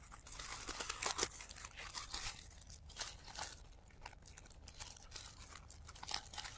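A hand-sized pom-pom flower made of thin, light, airy layers of blue tissue paper is squeezed and crinkled at the petals by the fingertips of both hands, with the sound running in reverse. Quiet, bright, papery crackles and crunches come in dense overlapping clusters. Soft swells build and fade between them.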